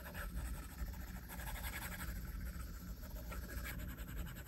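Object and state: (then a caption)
Stylus drawing on a glass tablet screen. A plastic stylus tip scratches slow strokes across the flat glass screen of an iPad. The result is a soft, continuous scratching with no distinct hits, sitting over a steady low hum and a faint, thin hiss.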